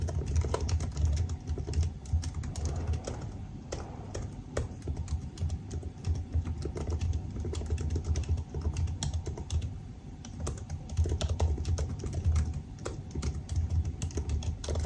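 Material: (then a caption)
Plastic. Fingertips type steadily on the black plastic keys of a silver aluminium laptop keyboard, producing a continuous stream of soft, rapid key taps. The taps sit over a deep low rumble, with short bright clicks and brief lulls in pace throughout.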